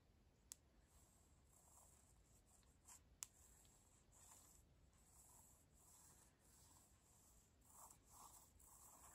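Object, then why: Laminate floorboards. Long pointed acrylic nails scratch and tap on a light wood-grain laminate floor with flat, solid boards. Soft, bright scratching rasps and swishes run throughout, broken by two sharp, dry taps that stop instantly.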